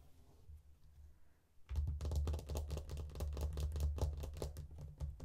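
An opened faux leather wallet phone case with card slots and a phone compartment lies flat while long painted nails tap quickly on its inner panels. After a quiet start, a fast, uneven run of soft, dull taps begins, each with a low thud and a short bright click that dies away almost at once.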